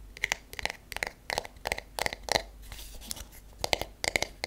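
Long nails and fingertips tap on the wooden back and handle of a wooden paddle hairbrush, making quick, dry, bright clicks in uneven bursts. Each tap dies away almost at once, and a soft scratchy rustle fills a brief gap between the clusters.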